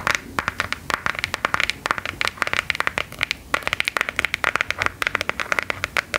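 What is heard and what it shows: A smartphone in a patterned clockwork-design plastic hard case, held in both hands, is tapped with long gold metal filigree nail claws. About forty quick, bright clicking taps come in an uneven rapid run over six seconds, each sharp and dry with almost no ring and very little low end.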